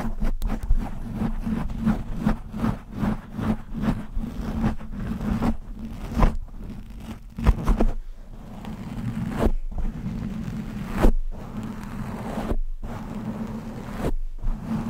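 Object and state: Foam microphone windscreen being scratched.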